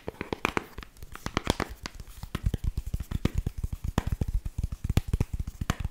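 Long pink nails rapidly tap the back of a Kindle e-reader in a flat, solid black protective cover. The result is a quick, uneven run of short, dry taps, each a low thud with a bright clicky edge and almost no ring.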